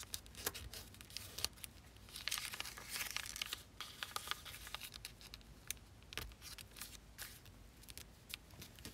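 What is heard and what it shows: Fingers with long nails press and slide along the folds of thin zebra-pattern origami paper, folded into an elongated figure lying on a black table, rubbing and creasing it. The result is a steady stream of bright, crisp crinkling and tearing-like rustles, broken by many sharp, quick clicks with almost no low end.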